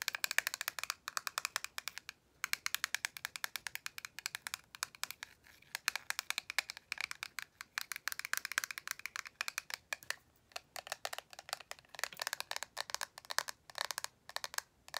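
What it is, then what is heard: Plastic eyeshadow palette. Long pastel acrylic nails rapidly tap and scratch a small, flat, rectangular plastic 'Love You So Mochi' eyeshadow palette with a clear lid and hollow case. The result is a dense, continuous stream of crisp, bright clicks with no lingering ring and only brief pauses.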